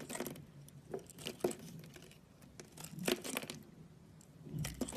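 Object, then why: Bar of soap cut with a knife. A solid teal oval bar of soap held in the palm is cut and scraped with a utility knife, giving soft crunching, scratchy scrapes and short crisp cracks as chunks break off. The strokes come irregularly with quiet pauses between them, and the sharpest snaps carry a bright, dry edge.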